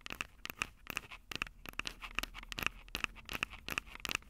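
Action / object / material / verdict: tap / plastic and metal handheld audio recorder / plastic, metal / none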